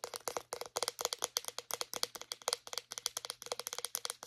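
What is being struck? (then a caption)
Plastic deodorant stick. Long nails tap and scratch the casing and base of a small white plastic deodorant stick in a rapid run of about thirty crisp, clicky hits. The sound is bright and dry, with each tap dying away almost instantly.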